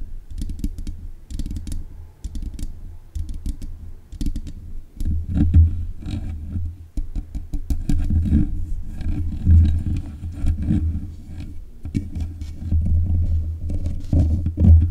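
Long nails tap rapidly on the hollow mesh grille of a black metal desk microphone. The result is a dense run of dull, boomy thumps, deep and low with faint clicks on top, all crowding together into a continuous rumbling patter.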